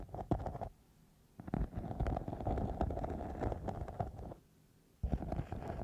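A thin, soft, flexible silver glitter-covered foam sheet wrapped over the microphone is scratched and rubbed with long nails and fingertips. It makes dense, low, muffled scratching and rustling in three bursts, split by two short near-silent pauses.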